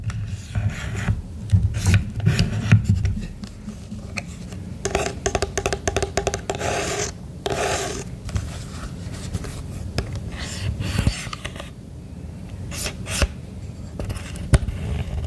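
Fingertips tap and rub the hollow red and black plastic casing of a Midland hand-held emergency radio with its metal antenna extended. The result is a steady run of dull, low plastic taps mixed with scratchy rubbing, with brief louder clusters.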